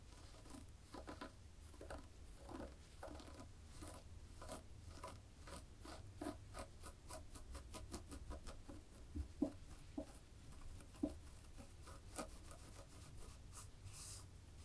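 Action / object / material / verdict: scrape / knitted fabric / knit fabric / none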